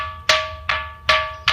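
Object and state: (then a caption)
Ringing rock with a metallic sound. A rock at Khanderi Fort, beside the lighthouse, is struck with another stone four times. Each strike gives a bright, metallic, iron-like ring with a clear pitch near 1.15 kHz that fades over a fraction of a second.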